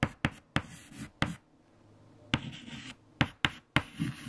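White chalk held in fingertips writes equations on a large, flat black chalkboard. Eight sharp taps of chalk striking the board are each followed by short, dry scratching strokes, with a quiet stretch in the middle of the clip.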